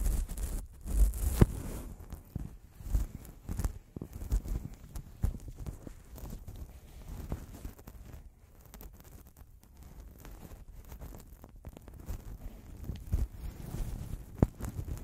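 Latex-gloved fingertips tap, rub and scratch the heads of the two small hollow metal X/Y microphone capsules on a Zoom recorder, while a black cotton-gloved hand brushes them, all on the recording mic itself. This gives a steady stream of short, dull, low-pitched thumps and muffled rubbing, with almost no bright content. The knocks are loudest at the start and again near the end.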